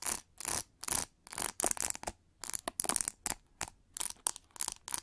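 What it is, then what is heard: Plastic hair brush, textured back. Long nails scratch and tap the textured back of an oval, hollow pink plastic hair brush. The result is a run of short, crisp, bright scratchy bursts separated by brief silences, with almost no low end and no ringing after each stroke.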